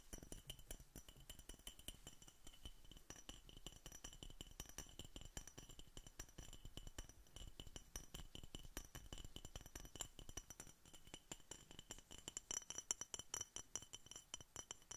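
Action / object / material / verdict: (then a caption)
tap / glass bottle / glass / none. Gloved fingertips and nails rapidly tap an empty, hollow, clear glass Coca Cola bottle with a red label and red metal cap, held close to the microphone. The tapping is quick and continuous, making bright, high clinks that die away almost at once over soft, low thuds.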